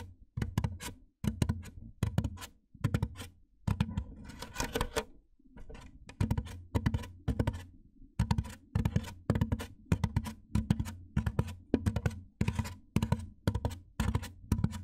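Fingertips and nails tap and scratch the top edge of a large, white, hollow styrofoam box while the other hand rests on it. Quick clusters of dull, hollow, low thuds die away almost instantly, with a brief stretch of brighter scratching in between.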